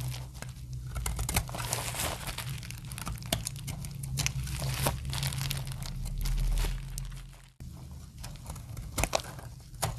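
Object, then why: Soap bar shaved with a metal blade. A metal blade shaves curling dry flakes from a solid, translucent orange soap bar. Dense, crisp crinkling and crunching scrapes run throughout over a steady low hum. The sound swells to a louder scrape near the middle, cuts off sharply for a moment, then resumes with more scattered bright crunches.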